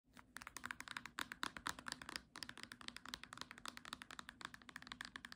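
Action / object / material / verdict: tap / small cloth-bound hardcover book / cloth and board / none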